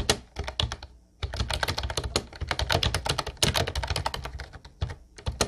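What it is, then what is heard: Plastic round-key keyboard being typed on. Fast fingertip typing on an Ubotie plastic retro round-key keyboard, light blue with round white keycaps, makes a rapid stream of bright, short clacks over a low thump. Two brief pauses break up the rhythm before the typing resumes.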